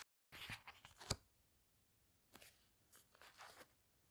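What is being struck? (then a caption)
Paper pages of a hardcover book. Long red-painted nails and fingertips turn and squeeze the glossy paper pages of a large, thick hardcover book with a teal cloth cover, lying open on a table. Soft, bright crinkling rustles lead to one sharp, crisp page snap, followed by quieter scattered rustles against near silence.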